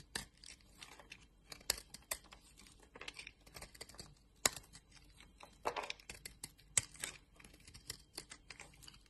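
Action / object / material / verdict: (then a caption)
scrape / solid soap bar / soap / none. A box-cutter blade shaves thin flakes off a palm-sized orange solid bar of soap held in a hand with long nails. Quiet, crisp scraping and crackling strokes come at an irregular pace, with a few sharper cuts standing out. The sound is bright and dry, with very little low end and almost no ring after each stroke.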